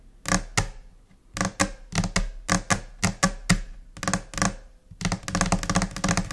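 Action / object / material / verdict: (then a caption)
tap / laminate desk surface / laminate / none. Long nails tap on a flat, solid white laminate desk surface. The sharp, bright clicks each carry a low, short-lived thud and fall in scattered, irregular pairs and short bursts with brief pauses between. It ends in a fast, continuous flurry of taps.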